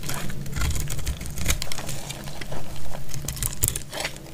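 A metal utility blade cuts and scrapes a solid, dry dark purple bar of soap into flakes. Crisp, dry crackling scrapes and bright crunchy bursts come in quick, uneven succession over a steady low rumble.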